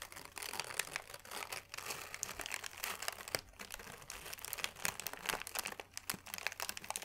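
A crumpled sheet of thin white paper is held in both hands and crinkled with the fingers. It makes a steady, dense crackling of quick, sharp, bright crinkles with almost no low end.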